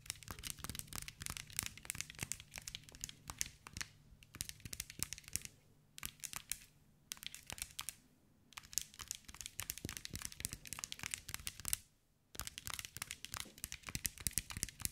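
Long white nails tap and scratch a hand-sized green mirror-glass mosaic ball, producing dense, rapid, bright clicks and crisp scratchy crackles with almost no ring. The clicking comes in bursts separated by a few brief silences, including a clear gap near the end.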